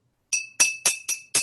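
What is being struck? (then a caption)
Glass jar with a little water. A glass jar holding a little water is tapped five times, each tap giving a bright, short ding with a steady ringing pitch near 2.6 kHz. With the water added, the note sounds a little lower than when the jar was empty.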